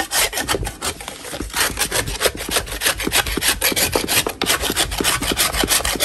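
A large solid natural chalk block lying in chalk dust is scraped with a metal putty knife held in a purple-gloved hand. Rapid, gritty scratching strokes repeat at an uneven pace, giving bright, hissy rasping with short tonal squeaks.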